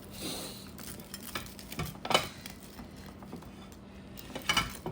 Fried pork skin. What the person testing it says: malutong-lutong, oh. Tumutunog-tunog pa.